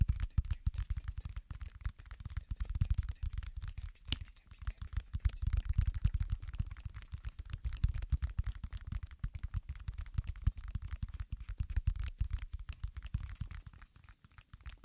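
Fingertips slowly press and pop the hollow domes of a round silicone pop-it fidget toy. The result is a steady stream of soft, dull, low thumps with very short decay, spaced irregularly, with almost no bright content.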